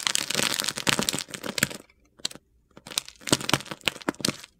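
A solid purple bar of soap, held in a hand with long red nails, is shaved and carved with a metal utility knife blade. It makes dense, bright, crackling scrapes and crunches, pauses briefly with a few faint clicks, then returns in sharp bursts.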